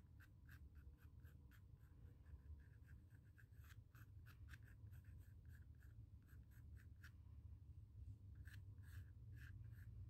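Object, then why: Graphite pencil on primed cotton canvas. A graphite pencil tip scratches and draws lines across the surface of a small, square, white primed stretched cotton canvas panel resting on a wooden table. Short, bright, scratchy strokes repeat in quick bursts over a quiet, steady low rumble.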